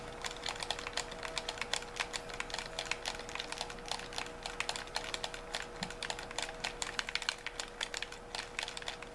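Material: Plastic.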